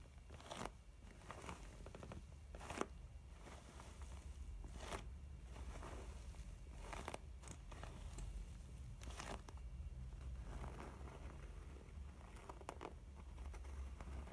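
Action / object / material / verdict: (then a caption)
scrape / faux leather zip makeup pouch / faux leather / none. Long painted nails and fingertips tap and scratch the front panel, printed in white with "BEAUTIFUL", of a closed, medium mint-green pebbled faux leather zip cosmetic pouch filled with makeup products and resting on a white table. Quiet, crackly scratching runs throughout, broken by short, sharp taps that click brightly and die away almost instantly over a steady low rumble.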